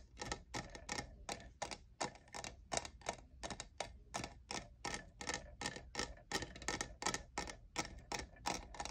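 Fingernails tap the sides of a hollow lavender plastic cold cup with a diamond texture. The result is a quick, irregular run of short, dry, bright clicks with a hollow plastic tone around 650 Hz, each dying away almost at once over a faint steady low hum.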